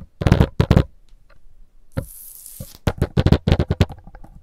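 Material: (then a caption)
Stone. Long blue nails tap on a solid, rough stone block wall with a mortar joint, giving low, dull knocks that stop almost instantly. A pair of taps opens the clip, then a bright, hissing scratch drags across the surface before a quick run of closely spaced knocks.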